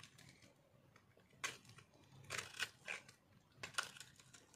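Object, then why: Soap bar cut with small metal knife. A small metal knife scrapes and cuts crunchy chips from a solid, dried white soap block held in the palm. The result is a series of quiet, irregularly spaced bursts of crisp, bright scraping and crackling, with short dry snaps between faint rustling.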